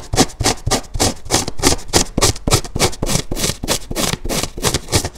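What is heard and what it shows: Fingertips and nails scratch the surface of a large, soft, porous dark grey dry polyurethane foam car-wash sponge, lying beside a second one on a white table with a hand resting on it. The result is a quick run of rough, crunchy scratching strokes, about three or four per second, each a bright hissy burst over a soft low thump, with almost no ring between them.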